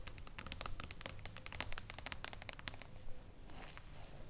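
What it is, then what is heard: Hardcover book with foil cover. Long acrylic nails tap and scratch across the shiny, reflective silver mirror-foil cover of a flat hardcover book lying on a table. Rapid, crisp high clicks come first, then give way to softer, continuous scratching over a low background hum.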